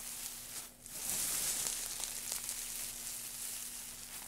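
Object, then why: Loose pile of thin wood shavings. Fingertips and palms press into and rub through a loose pile of thin, light wood shavings resting on a black surface. A bright, crackling rustle fills the clip, dipping briefly near the start, then swelling into a steady, dense crinkle with scattered sharper crackles. A faint, steady low hum runs underneath throughout.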